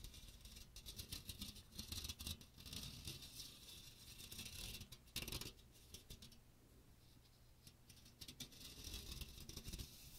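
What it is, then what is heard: Metal mesh strainer being scratched. Fingernails scratch the fine metal mesh of a small strainer with a teal plastic rim, held close to the microphone. The result is bursts of bright, dry, scratchy rasping over a steady low rumble, with a few louder sweeps.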